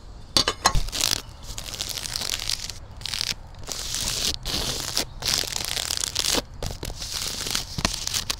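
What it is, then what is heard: Woven plastic outdoor rug. Long dark nails and fingertips scratch and rub the textured weave of a large, flat black-and-beige woven polypropylene outdoor mat lying on the ground, with the microphone resting on the rug. The result is a bright, dry, crackling rasp in bursts of steady scraping, broken by brief silent gaps and a few sharper taps near the start.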